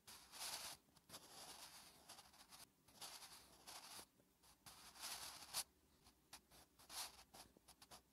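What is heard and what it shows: A wooden graphite pencil held in the fingertips writes Korean letters on a thin lined paper notebook page resting on a flat surface. The graphite makes quiet, bright scratching strokes across the paper in short bursts separated by brief pauses, with a few sharper ticks.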